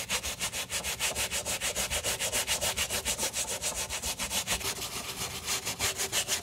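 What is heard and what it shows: The wet, soap-foamed rubber sole edge of a white leather Moncler sneaker, held in gloved hands, is scrubbed back and forth with a wooden-handled stiff bristle brush. The result is a steady, fast run of bright, hissy, rasping brush strokes, about three per second. Each stroke ends quickly with no ring.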